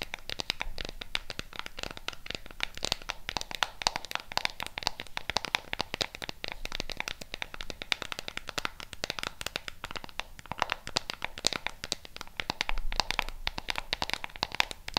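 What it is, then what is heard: Plastic remote control tapped and scratched. Long pink nails tap and scratch quickly across a hollow, flat black plastic LED remote control held in both hands, hitting its many colored rubber buttons and its casing. The result is a dense, continuous stream of crisp, bright clicks and scratchy rustles, each dying away almost instantly, with a faint low thump beneath.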